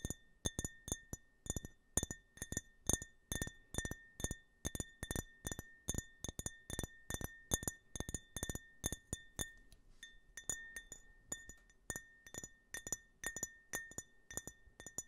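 A small, empty glass tumbler with a US flag print is held horizontally while fingertips and nails tap along its side. A steady run of quick, bright clinks rings with a clear glassy tone, with a brief softer stretch near the middle before the tapping picks up again.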